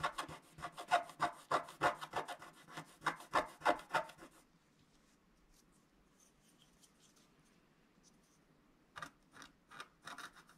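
A wooden stylus scratches along the lower edge of a flat, coated scratch-art sheet, making a rapid, fairly regular run of short, dry, rasping strokes for about four seconds. A near-silent pause follows, then a few more scratchy strokes near the end.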